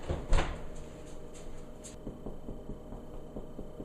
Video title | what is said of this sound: Making bread using the dough setting. | nice and hollow sound by tapping on the bottom of it